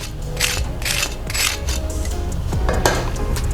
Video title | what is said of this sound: 2022 SUPER BOWL WINGS - Quick and Crispy | Can you hear that? That's how crispy you want this.